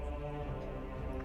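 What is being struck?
Nothing is struck.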